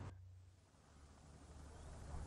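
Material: Nothing is struck.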